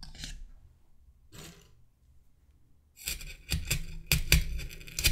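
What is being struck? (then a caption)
Wooden toothpicks in a polystyrene foam head. Fingertips push wooden toothpicks into a white solid polystyrene foam mannequin head that already has many toothpicks stuck in it. Each pierce makes a short, squeaky, bright rasp. Two sparse strokes are followed by a quicker cluster of louder ones.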